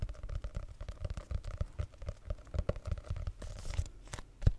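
Fingertips and nails rapidly tap and scratch the cover of a small red hardcover notebook held upright close to the mic. The result is a quick run of soft, low, dull thuds, a brief brighter scratching rustle near the end, and one louder tap to finish.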